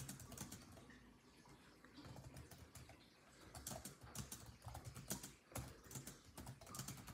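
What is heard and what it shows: Fingertips of both hands type rapidly on a built-in laptop keyboard with dark plastic chiclet keys set in a grey laptop body. Quiet, dense clicks and light taps run throughout over a low background hum, with the tapping growing busier and louder in the second half.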